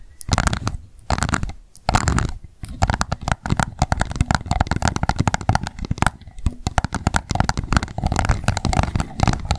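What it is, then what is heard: Plastic cup. Long nail tips tap fast on the base of an empty pink plastic cup standing upside down. The result is dense bursts of short, dry clicks with a hollow, low thump, broken by brief pauses.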